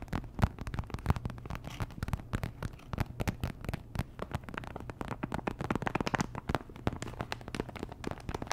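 Long nails tap and scratch a small, thin, flat, sealed plastic sticker packet with a printed surface. The result is a dense run of quick, dry clicks and crinkly scratches, each dying away almost instantly, over a steady low hum.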